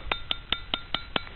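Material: Steel.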